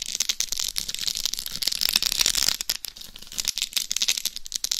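Long nails scratch and tap across the face and top of a hollow, life-size dummy head microphone covered in rhinestones. The result is a dense stream of crisp, bright clicks and scratchy rattling with almost no low end. The taps are short and dry, with no ringing.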